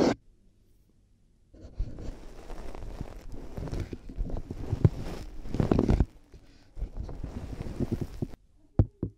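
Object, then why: Plastic headphone earcups. White plastic headphone earcups placed on a binaural microphone are tapped and rubbed with long nails and fingertips. Dense, muffled scratching and tapping fills two stretches, mostly low and boomy with little brightness, and ends with a couple of sharp, isolated knocks.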